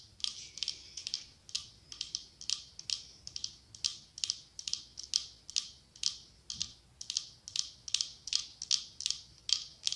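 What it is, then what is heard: Glass candle holder tapped with nails. Long acrylic nails tap and scratch the side of a medium cylindrical glass candle holder decorated with autumn leaves, with a white candle inside. The sound is a steady run of quick, bright clicks and short scratchy bursts, crisp and high with almost no low end, each dying away almost instantly.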